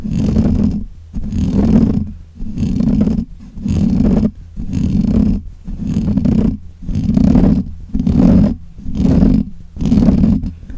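Fingernails of both hands scratch the black, hollow metal mesh grille of a desk microphone in repeated strokes, about one per second. Each stroke is a loud, muffled, rumbling scrape with a heavy low hum around 200 Hz, separated by brief near-silent gaps.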